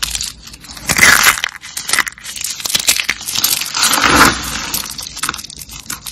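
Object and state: Dry, brittle soap rolls crushed by hand.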